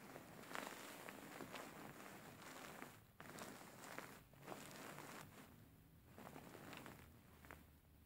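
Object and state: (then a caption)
Faux fur pillow being scratched. Fingertips and nails scratch and massage the surface of a soft stuffed cushion covered in grey faux fur, lying flat. Quiet, brushy scratching strokes come in short bursts with a soft rustle, and brief bright streaks mark the passes of the nails over the fur.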